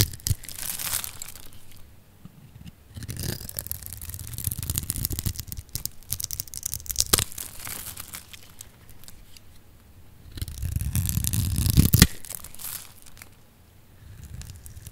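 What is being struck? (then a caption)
Bar of soap cut with a metal blade. A solid oval pink bar of dry soap, held in the hand, is cut and scraped with a metal box-cutter blade, and flakes crumble off. Several stretches of crisp, crackling, tearing scrapes with a dull low body are separated by quieter pauses. The loudest burst comes near the end, ending in sharp bright snaps.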